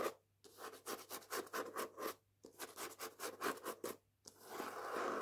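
Long painted nails scratch and rub the matte paper dust jacket, front and back, of the hardback book "Jews Don't Count." Two runs of quick, dry scratching strokes are separated by short silences, then give way to a steadier, brighter continuous rub at the end.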